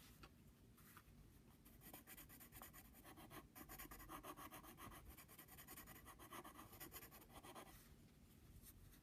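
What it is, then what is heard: Pencil scratching on a padded paper envelope. A pencil tip scratches quick small strokes while doodling beside the logo on a flat brown padded paper envelope. It makes a dry, scratchy rasping that runs steadily for about nine seconds as a run of short bright strokes. The sound is fairly quiet and eases off slightly at the start and end.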